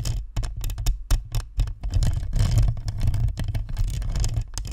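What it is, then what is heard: Plastic ball microphone grille tapped and scratched. Long nails tap and scratch the perforated metal grille and chrome badge of a hollow, white plastic spherical microphone. The result is a rapid, uneven stream of close, dull taps and scraping rustles with a heavy, boomy low end and brief bright clicks, each sound dying away almost at once.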